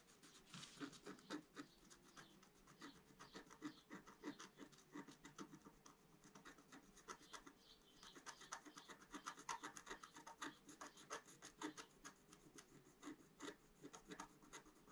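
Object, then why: Scratch-art paper sheet scratched with a wooden stylus. A pointed wooden stylus held in the fingers scratches across a flat, solid, about A4-size black-coated scratch-art sheet over rainbow foil lying on a table. Dense, rapid, bright rasping scratches run continuously, with short sharp strokes and no lingering ring.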